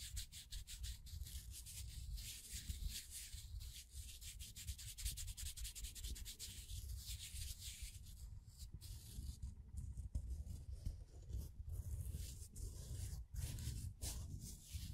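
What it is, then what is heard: Laser-cut plywood figure being rubbed. Fingers rub and flex the layers of a small, thin, laser-cut plywood figure with burnt edges, held between thumb and fingers. The result is a continuous dry, scratchy rubbing with rapid little scrapes and clicks, a heavy low rumble underneath and a bright hiss on top.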